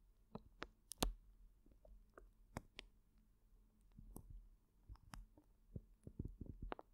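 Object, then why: Plastic zip bag filled with gel water beads. Fingertips squeeze and knead a large clear plastic zip bag full of colorful gel water beads, the beads rolling inside. Quiet, scattered soft clicks and crinkly ticks, some reaching bright highs, sit over a low, muffled rumble of squishing. The sounds are short and dry, with no ring after each one.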